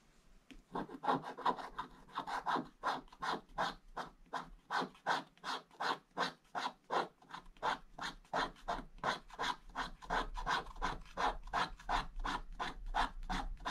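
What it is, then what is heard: Scratch-art paper being scraped. A thin pointed wooden stick scratches the black wax coating off a flat scratch-art page in a book, exposing the shiny blue foil paper beneath. Quick, steady back-and-forth strokes come at roughly three per second, each a dry, raspy scrape centred in the mid range with a bright, airy top. The strokes stay fairly even throughout, with very short tails between them.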